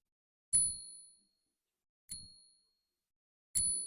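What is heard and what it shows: A 1921-D Morgan silver dollar, bought for $28, is ping-tested by being struck with a nail because the ping tester is in the safe. Three separate strikes each produce a bright, high ringing ding that decays over about half a second, confirming the ringing sound of silver.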